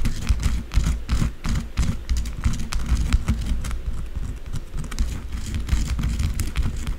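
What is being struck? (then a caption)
Bar of soap scratched and tapped with long nails. Long blue acrylic nails scratch and tap rapidly on top of a solid white bar of soap lying on shavings. The result is a dense, continuous run of dry, low-heavy scratches and short taps with little ring, and faint bright scraping above.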